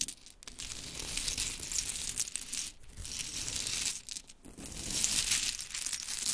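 Long chrome nails rake and tap through a pile of scattered small pink mini wooden clothespins. The result is a dense, bright clatter of light clicks and rustling that swells in waves, easing off briefly before building again.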